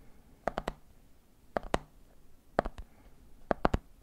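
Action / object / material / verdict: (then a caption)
tap / plastic jar full of peanuts with plastic lid / plastic / none. Fingers tap the side of a medium clear plastic jar full of peanuts, then fingertips tap the top of its red plastic lid. About ten short, dry, hollow clicks come in four quick clusters of two or three, with a mid-pitched knock and almost no ring.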